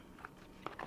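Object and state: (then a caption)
Crispy flatbread crust. A baked flatbread crust gives four short, crisp crunches with a dry crackle near 1.3 kHz, the last one rising at the end. The crust is crispy, as it should be.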